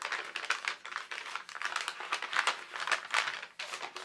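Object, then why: Thin tracing paper sheet. A single translucent sheet of tracing paper, held in both hands, is bent and crinkled by the fingers. It makes a steady stream of dry, crisp crackles and rustles in quick bursts. The sound is bright, with almost no low end.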